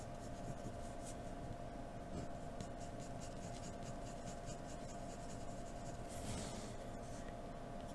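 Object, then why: Graphite pencil on drawing paper. A hand lightly scratches a graphite pencil across a sheet of white drawing paper, sketching the details of lips. Soft, continuous scratchy strokes sit over a steady low background hum, staying quiet and even throughout with a few brief brighter bursts.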